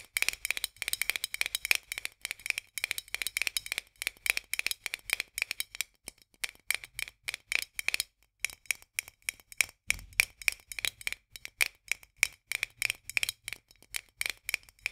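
Long nails tap rapidly on the edge of a white metal lid sitting on a full glass jar. The result is a fast, dense stream of sharp, dry, bright clicks with no ring, centred around 2.4 kHz, with a brief pause just past the halfway point.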